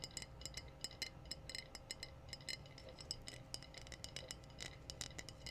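Long blue-painted nails tap rapidly on a hollow, apparently empty clear glass wine bottle with a metallic red cap, held up in the air. Each tap gives a quick, bright glassy clink with a high ring that fades almost at once, in a busy, uneven rhythm over a faint low rumble.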